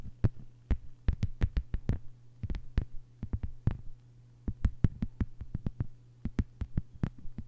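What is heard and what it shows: Long white-polished fingernails of both hands tap a thin, solid, flat lime-green plastic cutting mat lying on a table. Quick, irregular bursts of short, sharp taps each give a dull low knock with a faint bright click, over a steady low hum. There is a brief pause near the middle of the clip.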